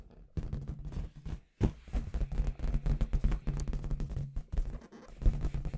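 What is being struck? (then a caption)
Inflated latex balloon with confetti inside. Long red nails and fingertips knock and tap on a clear, hollow, inflated latex balloon with confetti inside. The result is a dense run of quick, soft, hollow thumps, deep and muffled with almost no brightness, each dying away almost at once, with a short pause near the middle.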